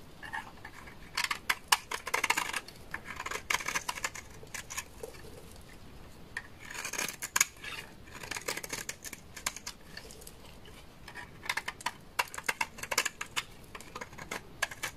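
A utility knife blade scrapes a large, solid, beige bar of dry laundry soap into flakes. Bursts of quick, crisp, dry scraping sound bright and hissy, separated by quieter pauses. The short scrapes cut off sharply with almost no ring, and there is little low end.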